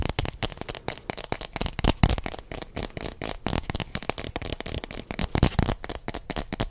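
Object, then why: Plastic stemmed wine glass. A single hollow, empty, hand-sized translucent blue plastic stemmed wine glass is held in both hands close to the microphone and quickly tapped and scratched with fingertips and nails. The result is a rapid, uneven stream of dry clicks and crackly scrapes with no ringing. A few louder taps stand out.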